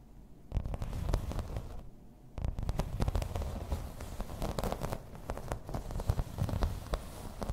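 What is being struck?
Thin embossed plastic placemat.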